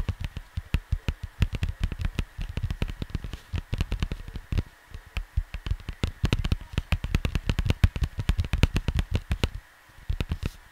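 Fingertips tap and scratch the surface of a cardboard vinyl LP record sleeve. Quick, dry, low thuds follow one another in a rapid, uneven stream, with faint scratchy brushing between them and a short lull just before the end.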